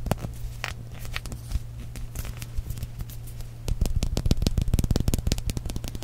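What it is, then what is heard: Plastic squeeze tube. A small, hollow purple-and-white plastic squeeze tube of balloon paste, held in one hand, is tapped and scratched with the fingernails and fingertips of the other hand. Sparse, crackly scratches and light clicks in the first half give way to a denser, louder run of sharp, dry taps, all over a steady low hum.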